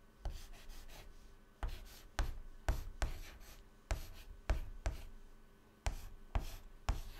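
Fingertips hold a stick of white chalk and write letters on a flat black chalkboard panel. Each stroke begins with a small sharp tap, then a dry, quickly fading scratch that is mostly low, with a faint bright hiss. The strokes come as a series of separate, irregularly spaced marks.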